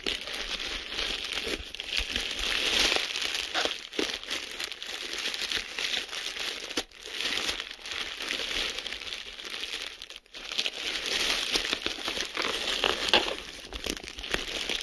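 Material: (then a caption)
Plastic. A sheet of clear plastic bubble wrap, rolled into a tube, is gripped and squeezed with the fingers and thumb, giving dense, bright crinkling with scattered sharp pops. The sound runs almost continuously for about 15 seconds, with brief quiet gaps near 7 and 10 seconds.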